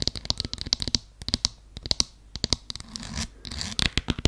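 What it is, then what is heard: Faux suede heeled sandal. Long nails scratch along the sole side and ankle strap of a beige faux suede strappy heeled sandal held sideways. The result is a rapid run of sharp, bright, scratchy clicks with brief rougher stretches of continuous scraping.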